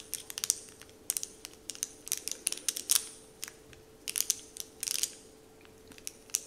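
Fingertips and short nails crinkle and scratch a large, flat, heart-shaped sheet of Dove-printed crinkly candy wrapper paper lying on a wooden table. Quiet, bright, crisp crackles come in quick clustered bursts separated by brief pauses, with almost no low end and a faint steady hum underneath.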